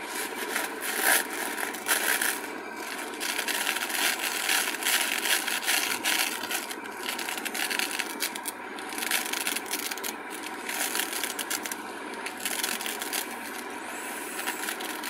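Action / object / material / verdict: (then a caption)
scrape / glitter-coated craft foam sheet scratched by fingernails / foam / none. Long nails scratch and rub the glitter surface of a flat, solid purple glitter craft foam sheet held in both hands. The result is a steady, bright, scratchy rasp with irregular texture and almost no low end.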